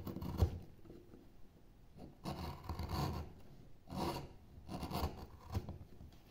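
A gouge cuts and scrapes into the surface of a solid pale wood relief panel near the carved figure's head, lifting loose curled shavings. Soft, low rasping strokes come in several separate bursts, with a few sharper ticks where the blade bites in.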